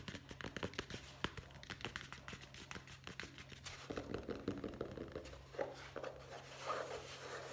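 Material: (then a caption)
Cardboard. Fingertips tap rapidly on the cover and edges of a solid hardcover guest book with a board cover and gold lettering, held in both hands. The taps are quick, dull and short, with light scratchy rustling over a steady low hum.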